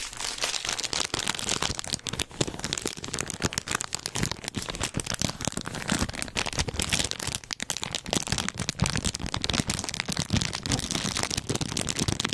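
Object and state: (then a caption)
Plastic snack wrapper. A clear and printed plastic-wrapped snack cake package is held in both hands while fingertips squeeze, crinkle and scratch the wrapper. The result is a dense, continuous stream of sharp, bright crackles and rustles with some soft low thumps underneath, steady in loudness throughout.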